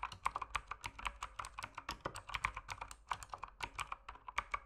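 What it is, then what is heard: Mechanical keyboard with plastic keycaps. Rapid fingertip typing on a mechanical keyboard with plastic keycaps produces a dense stream of short, sharp clicks that ring briefly and bright. The keystrokes center around 1 kHz with little low end and come in an irregular, steady rhythm throughout.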